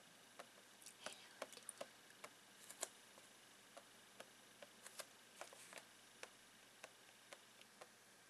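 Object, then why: Clear plastic box. Fingertips and nails tap and scratch the plastic lid of a long clear plastic retail box of rolled socks lying flat. About 18 quiet, sharp clicks and light scrapes are heard, spaced irregularly. Each tap is dry and bright, dies away almost instantly, and has almost no low end.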